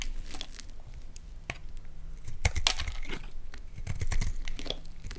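A palm-sized, partly carved orange bar of Lux soap is held in one hand while a metal utility blade scrapes and cuts curls off its surface. Soft, dry crackling scrapes and sharp crisp snaps repeat throughout, with bright high edges over a low rumble.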